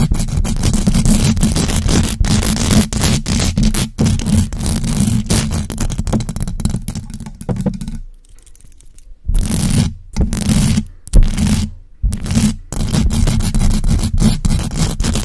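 Long acrylic nails on both hands scratch fast and hard across the hollow metal mesh grille of a large black USB microphone. The result is a dense, rough scraping with a heavy low rumble and crackly texture, dropping to near silence around 8–9 seconds before the scratching resumes in bursts.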